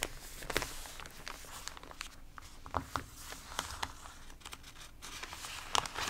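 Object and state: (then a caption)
Water-damaged paper magazine. A hand turns a page of an open paper magazine whose pages are rippled and water-damaged, then fingertips and palms rub across the crinkly paper. Quiet, bright rustling and crinkling is broken by short, sharp crackles as the stiff warped pages flex and rub.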